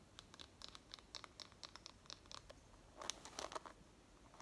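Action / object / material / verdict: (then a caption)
scrape / wooden hairbrush with wooden pins / wood / none. Long nails scratch and strum the wooden pins of a light wooden hairbrush, making a quiet series of short, dry, bright ticks and scratches. A denser, louder burst of scraping comes about three seconds in before the plucks thin out again.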